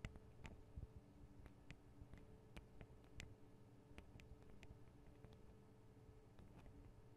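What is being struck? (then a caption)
Metal microphone capsules with guard wings on a handheld recorder. Long acrylic nails tap the small hollow metal microphone capsules, with their metal guard wings, on a Tascam DR-40 recorder. The sound is a quiet scatter of short, sharp ticks and clicks that stop almost instantly, over a steady low hum.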